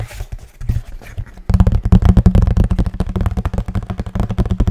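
Fingers knock and tap on a hollow kraft cardboard box held upright, then tilted. Soft, sparse taps give way after about a second and a half to a fast, uneven run of louder hollow knocks, around two dozen in all. Each hit is a short, dull, low thud with a slight boxy tone and almost no ring.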